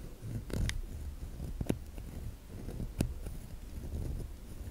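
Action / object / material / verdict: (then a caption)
tap / bar of soap / soap / none. Long nails tap and scratch the embossed top of a solid white oval bar of soap held in the hand. Soft, low scratching runs throughout, broken by sharp, brief taps with bright clicky edges, most clearly around 0.6, 1.7 and 3.0 seconds.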